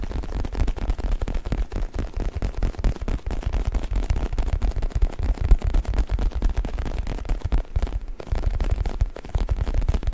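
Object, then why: Faux leather stuffed neck pillow. A black faux leather U-shaped neck pillow, soft and stuffed, is held in both hands behind the mic while fingertips scratch, rub and squeeze its surface. The result is a steady stream of dense, muffled low thumps and scuffing rustles, with nearly all the energy deep in the bass and almost no bright content.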